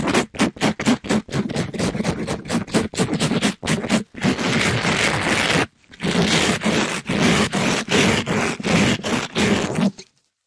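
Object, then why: Mesh-covered scrub sponge. A pink glittery mesh-covered scrub sponge, held in a gloved hand, is rubbed up and down the side of a microphone in fast, rough strokes. Quick scratchy bursts give way to a sustained gritty scrape, a short pause, and then more rapid rasping strokes, with a hollow low rumble under bright hiss. The rubbing stops abruptly near the end, leaving silence.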